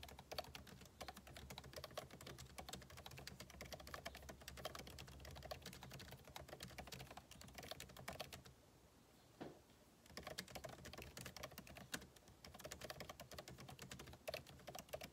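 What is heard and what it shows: Two hands type with their fingertips on the backlit keyboard of a MacBook Pro laptop, its plastic keycaps set in a hollow aluminum case. Quick, bright, clicky taps run continuously for about eight seconds, pause briefly, then resume. Each tap is short and dry, with little ring.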